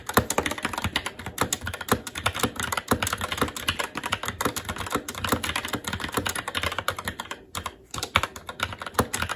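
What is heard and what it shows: Fingertips of both hands type continuously on a SteelSeries Apex 7 TKL mechanical keyboard with red linear switches, plastic keycaps and a metal top plate. A rapid, steady stream of short, bright clacks and soft thuds fills the clip, with a brief pause near the end before the typing resumes.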